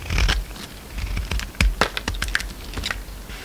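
A utility knife blade shaves and scrapes crumbly pink soap from an oval solid soap bar with a green coating and pink interior, held in the palm. The clip is a series of short, dry scraping and crackling strokes with bright, crisp bursts over a low background rumble.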